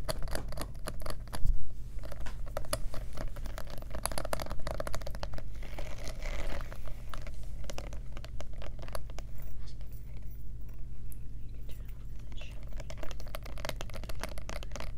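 Long nails tap rapidly on the metal clasp and rhinestone studs of a small black faux leather clutch purse with a studded flap. The result is a dense, continuous stream of short, sharp clicks and light scratchy ticks over a steady low hum.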